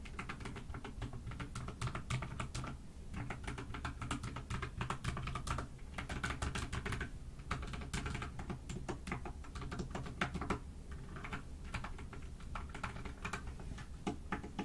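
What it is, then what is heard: Mechanical keyboard with plastic keycaps. A pastel dust silver D84 mechanical keyboard with plastic keycaps sits on a desk and is typed on continuously with both hands, using fingertips and long nails. A dense, steady stream of quick, sharp clacks and taps runs throughout over a constant low hum, with each keystroke dying away almost at once.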